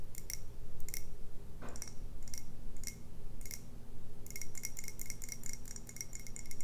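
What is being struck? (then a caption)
Glass tumbler of beer. Long red nails tap a clear glass tumbler full of dark beer as it is held up, making short, bright glassy clicks with a faint high ring. The taps come unevenly at first, then fall into a quicker run of light ticks near the end, over a steady low hum.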